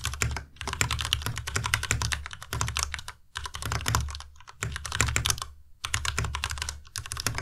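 Fingertips of both hands type quickly on the keycaps of a white plastic Ducky Miya Pro tenkeyless mechanical keyboard with Cherry MX Red switches and RGB backlight. Rapid bursts of bright, clattering keystrokes sit over a deep low thump from the keys bottoming out, with brief pauses between bursts.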